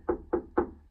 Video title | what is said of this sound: How to insulate a shipping container. Spray Foam Insulation. I.T.Creations￼￼ | night and day difference like ... no Echo ... deadened all the noise inside the container